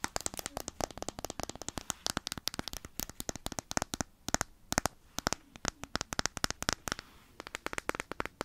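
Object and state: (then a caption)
Plastic jar. Long nails rapidly tap and scratch a small hollow plastic petroleum jelly jar with a blue lid, its contents visible inside, close to the mic. Dozens of sharp, dry clicks and crackles with bright tops sound in quick irregular bursts, with a few short pauses.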